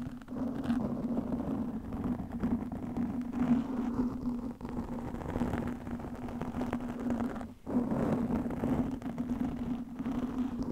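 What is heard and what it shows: Long nails scratch the top and sides of a black, soft, porous foam microphone windscreen. The result is a steady, dense, muffled scratching rustle with a low, constant tonal hum running underneath. It dips briefly twice, near 4.5 and 7.6 seconds, and has almost no bright high end.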